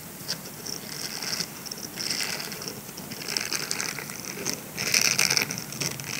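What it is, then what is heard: Silicone scrubber sponge. Fingertips scratch and squeeze the bristles of a grey silicone scrubber sponge as it is bent into an arch and then rolled. The result is a soft, bright, crackly patter of rapid scratching that swells in several louder bursts, with almost no low end.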